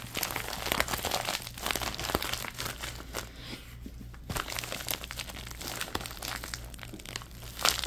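A thin orange plastic bag is held in both hands and crumpled and squeezed with the fingers, giving a dense, bright crinkling and crackling full of sharp little snaps. The rustling eases briefly in the middle, then picks up again and ends on a louder crunch, over a faint steady low hum.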